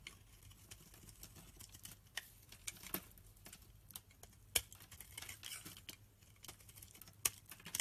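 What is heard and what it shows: A snap-off utility knife blade scrapes and slices fluffy shavings from a hand-held, solid, light-green oval bar of rancid soap. The result is quiet, irregular, bright crisp scratching and clicking, broken by a few sharper, louder cuts that stop almost instantly.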